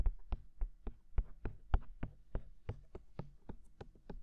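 Fingertips tap on the white silicone ears of a binaural microphone, with hands working on both sides. About fifteen soft, dull, low thumps come in an uneven rhythm, each dying away almost instantly with a brief bright tick on top.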